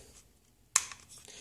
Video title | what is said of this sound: What does a $1000+ Airsoft M4 build look like? | if you have nothing connected to this lower receiver you can tap it and it sounds like a bell